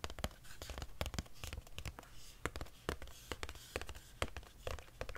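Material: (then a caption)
Cardboard. A long, narrow, hollow grey cardboard wand box, held in one hand, is tapped with long nails along its flat side. Quick, irregular dry taps carry a soft hollow low thump under bright clicky tips. Each tap dies almost instantly, leaving a faint background hush between them.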